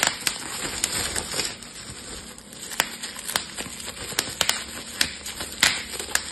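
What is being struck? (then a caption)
Plastic bubble wrap sheet. A clear plastic bubble wrap sheet has its bubbles pinched and popped between fingertips, giving a series of sharp, bright pops scattered unevenly over a steady high, crinkly hiss. Each pop is short and dies away almost immediately.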